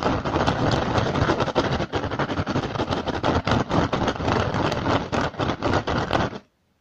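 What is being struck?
Upturned woven rattan basket.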